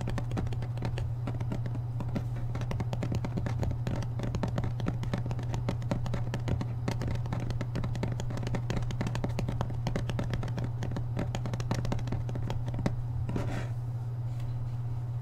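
A thumb scratches and flicks along the stacked paper page edges of a thick hardcover book held upright, making fast, repeated crisp ticks and rasps. The sound stays steady and quiet throughout, over a strong constant low hum.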